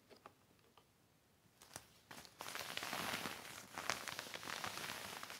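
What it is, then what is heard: Heavy plastic sheet crinkling. A black heavy plastic sheet lying on a blanket is rubbed by hand with a yellow cloth. A few faint, sharp crackles come first, then from about two and a half seconds a dense, bright crinkling builds and carries on to the end.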